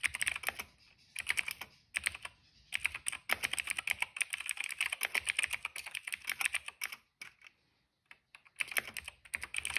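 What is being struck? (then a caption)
Plastic mechanical keyboard. Rapid fingertip typing on a cream plastic mechanical keyboard with black and purple keycaps and a hollow case. It makes dense bursts of bright, crisp clicks and clacks with short pauses between runs and a longer lull near the end before the typing resumes.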